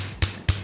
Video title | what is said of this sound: Top 3 Low Cost Wireless Keyboard On Amazon | it just sounds cheap and rattly